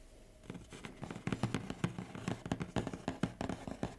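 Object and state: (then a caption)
Cardboard box, tapped. Fingertips and medium painted nails tap and scratch across the top of a large, flat, hollow brown corrugated cardboard Huawei laptop shipping box lying on a table. After a quiet first half-second, a quick, uneven series of soft, hollow, low taps begins, mixed with light scratching. Each tap dies away almost at once.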